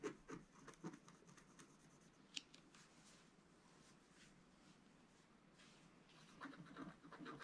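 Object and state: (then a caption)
Scratch art paper sheet. A wooden stylus scratches a flat, black-coated scratch art paper sheet resting on a table. Soft, dry scratching strokes come in irregular bursts, louder near the start and end, with one sharp tick partway through. The scrapes are quiet and bright, with a faint papery hiss between strokes.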